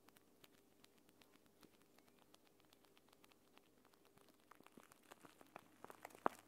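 A clear plastic eye mask filled with green gel beads is scratched with fingernails while lying flat on a table, then picked up and squeezed with both hands. Faint, sparse crackles and ticks patter throughout, growing denser and louder toward the end with a sharper pop near the finish.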